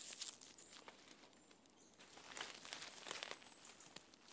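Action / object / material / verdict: scrape / rough bark of a standing tree trunk / bark / none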